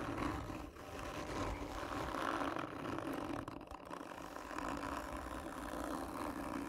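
Long nails scratch slowly and hard across a hollow black textured cardboard gift tube. The result is a continuous, rough scraping roar with a hollow resonant tone around 320 Hz. It holds a steady level apart from brief dips near 0.7 and 3.7 seconds.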